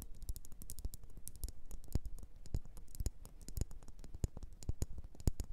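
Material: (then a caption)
Wax. Long nails tap and scratch a solid red faceted wax pillar candle, making a quick, steady run of dry clicks and light scrapes. Each tap has a soft low thump beneath a bright, crisp tick and dies away almost at once.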